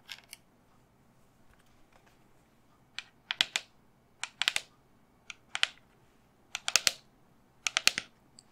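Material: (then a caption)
Resin. A resin skull candle holder is turned around and the back of the skull is tapped with long fingernails. Two light taps come first, then a quiet pause, then quick clusters of sharp, bright, dry clicks about once a second. Each tap dies away at once with no ring.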